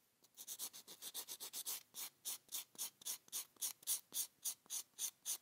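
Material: Abrasive foam.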